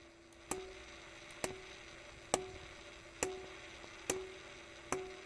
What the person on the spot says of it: it's a ringing stone. So there are some stones that are very resonant when you hit them